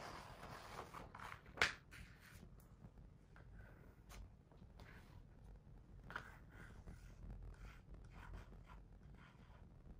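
Quiet, breathy rustles come and go as a fingertip traces across a smooth paper page, with a single brief dry click early on. Nothing rings; the paper only hisses softly under the skin, in a small, hushed room.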